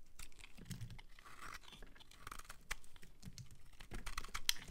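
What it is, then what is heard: Bar of soap being shaved with a blade. A metal utility-knife blade scrapes across a solid, palm-sized pink bar of soap held in one hand, shaving curls off its surface. The sound is a quiet run of dense, dry crunching and scratching, with short crisp clicks and bright shaving edges over a low, soft rumble. Each stroke stops almost instantly, with no ring after.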